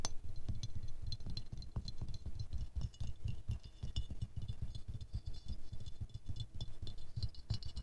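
Fingernails tap and scratch the petals of a small silver-glazed ceramic rose ornament held in the hands. The result is a quiet, steady run of fast and slow taps with short, dull low thumps, light bright clicks and faint scratching, each hit dying away almost at once.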